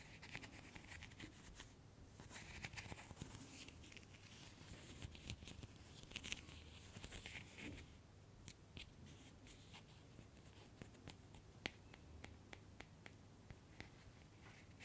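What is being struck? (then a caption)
Small vinyl figure. Long nails scratch and tap the big head of a small hollow PVC vinyl Funko Pop figure of Harry Potter with glasses, held just above the microphone. Soft, dry scratching rustles run under a steady low hum, broken by many sharp, bright little taps that die away instantly. The taps grow sparser and crisper toward the end.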